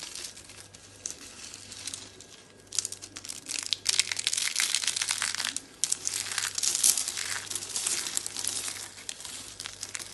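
Fingers with long dark red nails squeeze and crumble a pile of dry, solid, brittle orange soap flakes and curls. Dense, bright, crisp crackling and crunching starts softly, grows louder and more rapid after a few seconds, and continues in bursts until the end.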